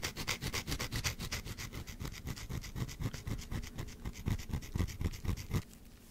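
Long black acrylic nails scratch rapidly across a small pale green solid bar of soap held close to the microphone. The result is a quick, fairly steady train of crisp scratching strokes, about four per second, with a soft low thump under each stroke and a bright hiss on top. The scratching stops just before the end, leaving a faint quiet tail.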